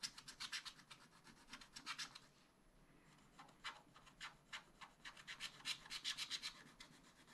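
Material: Waxed paper.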